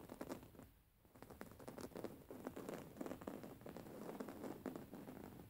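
Long fingernail tips scratch a soft, stuffed white embroidered cotton pillow with raised embroidery, making a quiet, continuous run of dry, rapid scratching and pattering. The scrapes are soft and low-mid, with brief bright streaks and dense, overlapping strokes that stay steady throughout.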